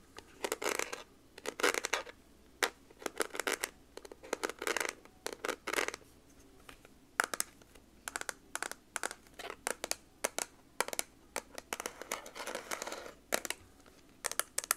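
Long nails tap and scratch the back of a hollow, dark teal, textured plastic scientific calculator, or its slide-on plastic cover. Quick clusters of dry, bright clicks alternate with raspy scratching bursts, each sound stopping almost instantly, separated by short quiet gaps throughout.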